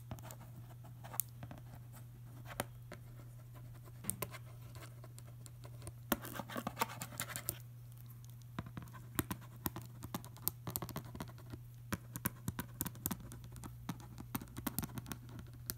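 A metal pen tip traces and scratches across the front of a large printed cardboard Tata Tea box full of tea bags, held upright, while fingers also rub the surface. Dry, scratchy friction is broken by many quick, sharp ticks and taps, with a steady low hum running underneath throughout.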